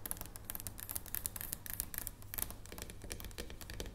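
A solid dark chocolate bar lying on a wooden table is tapped rapidly with the fingertips of long painted nails. The result is a dense run of quiet, bright clicking taps that die away almost instantly, over a steady low hum.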